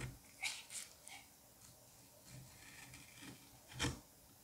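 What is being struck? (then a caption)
Kinetic sand mound. A metal curette scrapes strips off the surface of a solid dome of green kinetic sand with carved grooves. Several quiet, soft, gritty rasping scrapes with a bright, hissy top are heard, mostly in the first second and again near the end, with faint low rustling in between.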